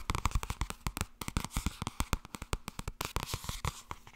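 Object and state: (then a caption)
Softcover book. Fast tapping on the softcover book 'Blijkbaar wordt het toch ergens als je er niets aan doet' produces a rapid, irregular run of about two dozen short, dry taps. Each tap is a soft, low thud with a brief papery click on top, dying away almost instantly.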